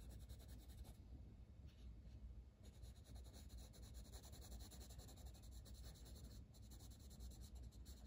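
A dark green wooden colored pencil is drawn in quick strokes across a flat paper page of a coloring book. The lead gives a soft, continuous scratching and rubbing over a quiet low rumble, steady throughout with a brief dip near the three-second mark. The rapid strokes blur together rather than standing apart.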